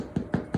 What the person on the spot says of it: sounds like it's Hollow and that's a good bake on the bread